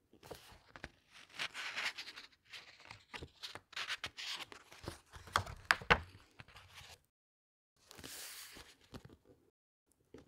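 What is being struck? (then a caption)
Glossy paper pages of a large hardcover book. Hands turn a glossy paper page of a large hardcover book, then rub the open spread flat with their fingertips. There are crisp, bright rustles and dry scraping strokes with a few sharper crinkles near the middle. After a short silence comes a soft hissing sweep and a few faint taps.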